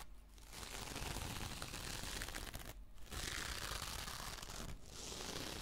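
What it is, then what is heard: Glitter-mesh dish sponge scratched with nails. A hand-sized rectangular dish sponge with a gold glittery mesh fabric cover is held upright in one hand while long painted nails of the other hand scratch slowly across its textured surface. The result is a steady, dense crinkling scratch with bright hiss, briefly dipping between strokes near the start and around the third and fifth seconds.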